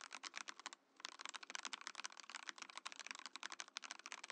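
A compact mechanical keyboard in a transparent acrylic case with cream and orange plastic keycaps is typed on with the fingertips of both hands. Rapid, bright, sharp key clacks run in a steady stream, with a brief pause just before the one-second mark. Each click dies away almost instantly.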